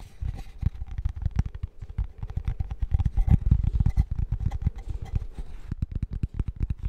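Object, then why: Thin cork coaster. Fingertips and nails rapidly tap and scratch a thin, flat, square cork-backed coaster held up close to the mic. The fast, irregular taps come as dull, low, thumping knocks that die away almost instantly, with a faint scratchy texture between them.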